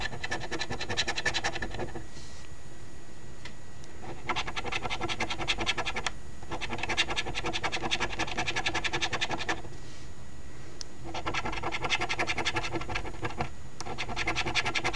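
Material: Cardstock.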